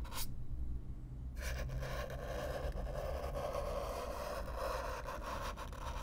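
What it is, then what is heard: Corrugated cardboard box being brushed. A stiff black-bristle brush is scraped across the surface of a hollow brown corrugated cardboard box, heard close up. A brief scratchy stroke is followed by a pause, then continuous rough brushing with a steady low hum underneath.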